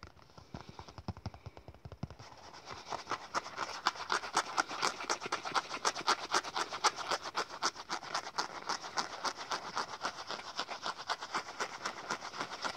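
Fingertips and nails tap and scratch quickly on the face and edge of a small black leather wallet, held in both hands, with a metal rabbit charm on the front. Soft, dull taps in the first two seconds give way to brighter, crisp scratchy taps at about four per second, each dying away almost instantly.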